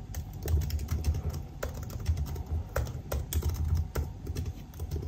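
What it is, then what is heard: Laptop keyboard with plastic keys. Fingertips type on a silver aluminium laptop with black plastic keys, producing a quick, uneven run of short, soft key taps with sharp bright clicks. The taps sit over a steady low rumble that carries most of the sound.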